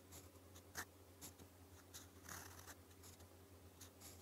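A gold metal fountain pen nib, held in the fingers, writes Korean in purple ink on a thin, flat, solid sheet of lined white paper. Soft, bright scratching strokes come in short bursts over a steady low hum.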